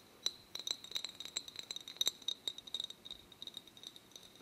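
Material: Glass.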